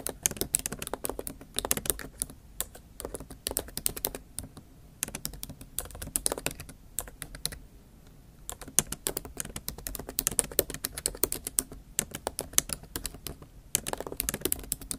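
Long acrylic nail tips and fingertips type steadily on a MacBook Pro keyboard with black plastic keys set in a silver aluminum body, tapping rapidly across the keys. Dense, bright, crisp clicks come in quick bursts, with brief pauses between runs and a soft low thud under each press.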